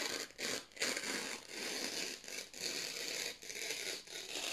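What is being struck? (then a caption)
Thin printed paper sheets. Fingertips slowly tear strips off the edge of a stack of thin white printed office paper sheets. Several sustained, bright, crackly rips follow one another with short quiet gaps between them, and there is almost no low end.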